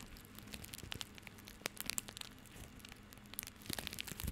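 A small, tied bundle of plastic rope held in the hand is scratched and rubbed with fingertips and nails. This produces dense, bright crinkling and crackling with many sharp, fast-fading ticks over a faint low hum, growing busier toward the end.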